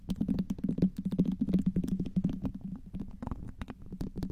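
Very long green acrylic nails tap and scratch the smooth skin of a small, solid, whole red tomato resting on top of a microphone. The result is a dense, irregular stream of short, dry clicks and scrapes over a low, muffled rumble, with no ringing after each tap.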